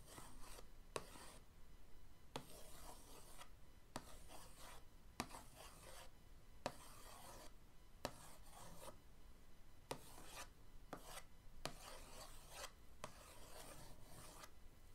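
The end of an orange paintbrush traces patterns across the lid of a flat, printed cardboard paint-set box, producing quiet, bright, scratchy rubbing strokes separated by brief pauses. Ten short, sharp ticks punctuate the strokes over a faint low background rumble.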